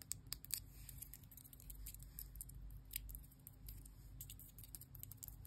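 A long press-on nail taps and scratches the printed front face of a small, closed, hollow cardboard Xbox controller box. Quick, dry, bright clicks and scratchy strokes come in an irregular flurry, each dying away almost instantly over a steady low rumble.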